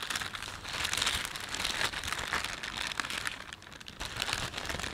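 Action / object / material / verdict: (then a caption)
scrape / thin plastic shopping bag / plastic film / none. A thin, empty plastic panda shopping bag is folded and rubbed between fingers, producing a steady, bright crinkling of the film. The rustle stays continuous for the whole clip, dipping slightly in the middle before picking up again.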